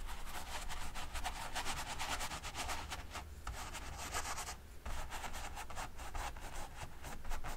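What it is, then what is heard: Brush strokes on an oil-painted canvas. A small paint brush makes rapid rubbing and dabbing strokes across a large stretched canvas, taut fabric over a hollow frame, coated in wet dark oil paint. The strokes come as soft, bristly bursts of brushing over a steady low hum, with brief pauses near the middle of the clip.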